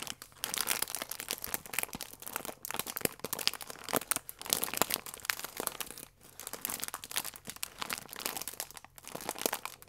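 A soft plastic wrapper with a croissant inside is squeezed and rubbed by fingers and nails, making steady, bright crinkling and crackling. Dense bursts of sharp crackles run throughout with almost no low end, easing only in brief lulls before the crinkling resumes.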